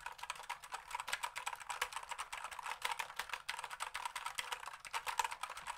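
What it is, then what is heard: Plastic computer keyboard typed on. A black plastic computer keyboard held vertically has its keys typed and tapped rapidly with fingertips. The result is a dense, steady run of short, dry plastic clicks centered in the mid-range with bright upper edges, each dying away almost at once.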